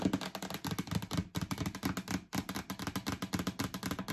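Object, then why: Plastic storage bin lid. Long acrylic nails scratch and tap rapidly across the stickered lid of a yellow hollow plastic storage bin, producing dense, dry clicks over a low, hollow body tone. The bin is then tilted and held up. The scratching pauses briefly twice before continuing in quick bursts.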